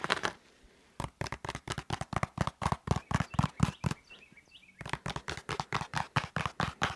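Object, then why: EVA foam exercise roller. Fingertips and nails scratch quickly along the textured surface of a blue EVA foam exercise roller, a solid foam cylinder about 45 cm long held at an angle. The result is a fast, uneven run of short, dry scratching strokes with a low thump in each. There are brief pauses near the start and around the four-second mark.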